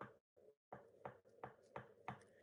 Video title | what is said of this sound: HUGE Travel Trailer with Three Slide Outs! - Grand Design Reflection 312BHTS | you hear how that sounds it's a real solid sound